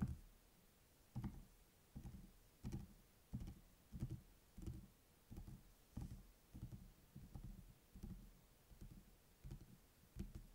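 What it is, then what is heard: Hardcover spiral notebook. Fingertips and short nails tap and scratch across the glossy printed hard cardboard cover of a closed A5-size spiral notebook with metal coil binding, lying flat and solid on a table. A quiet, irregular series of dull, low, muffled taps is heard, each dying away almost at once with little brightness.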